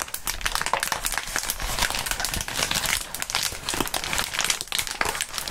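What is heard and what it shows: A clear plastic bubble wrap sheet is stretched and crumpled by gloved fingertips. It makes a dense, continuous bright crinkling, broken by sharp crackles that cut off instantly.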